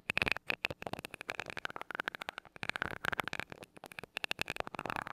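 A glass rod taps the side of the small gold metal mesh grille on a mini microphone, making a rapid, uneven run of about 31 short, bright metallic ticks with a ringing tone around 2.5 kHz. Each tap dies away almost instantly, with very little low end.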